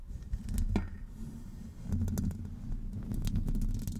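Long acrylic nail tips scratch a hollow metal wire-mesh microphone grille, with both hands gripping it from the top. The scratching gives a dense, low, rumbling texture broken by quick, bright, crisp ticks and scrapes that come in irregular bursts.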